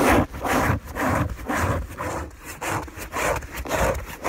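Fingernails of one hand scratch a white fabric sheet on a bed. The result is a dry, rasping brush that repeats in an uneven back-and-forth rhythm, with each stroke spreading from a low rumble up into bright, airy hiss.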